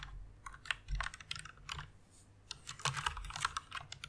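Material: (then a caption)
Plastic. Fingertips with long red nails press and tap the keys of a full-size white plastic mechanical keyboard resting on a pink pad. A rapid run of short, sharp clicks and clacks comes with soft low thumps, each keystroke dying away almost instantly.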